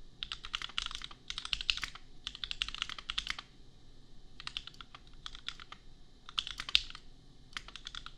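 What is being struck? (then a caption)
Plastic mechanical keyboard. Fingertips of both hands type on a compact $250 custom mechanical keyboard with Gateron Milky Yellow switches and red and pink plastic keycaps. Quick bursts of bright, short plastic clacks come in several runs separated by brief pauses, over a faint low background rumble.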